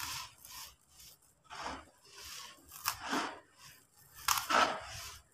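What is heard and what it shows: Bare hands and fingertips dig into a tub of loose, dry, gritty sand-cement mix, rubbing it, scooping it up, and letting it pour and sift back through the fingers. The result is a series of irregular, dry, crunchy rustling bursts with a bright, hissy grit and almost no low end.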